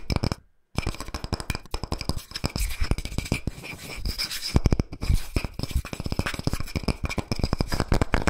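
A round, thin, solid slice of tree trunk with a bark edge is held in one hand while fingertips and nails rapidly tap and scratch its flat face and bark rim. Fast, dry, clicky taps with short scratchy rasps run continuously, pausing briefly near the start. The hits have a dull, woody low thump with a faint bright edge.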